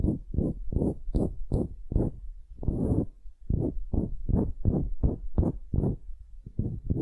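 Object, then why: Wooden cube. A solid pale wooden cube is held upright while long nails scratch and tap its end-grain face. A rapid run of short, dull, low-pitched scratching bursts follows, with a longer rasping scrape near the middle. Each burst is dry and fades almost at once.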